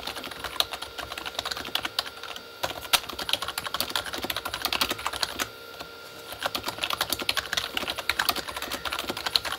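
Both hands type quickly with their fingertips on a full-size Corsair K35 plastic membrane keyboard with red backlit keys. It produces a dense, rapid patter of short, bright plastic clicks with almost no low end, and brief pauses break the flow near the 3- and 6-second marks.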